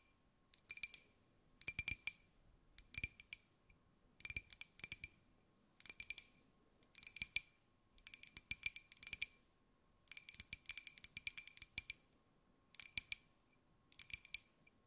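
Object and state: Ceramic mug.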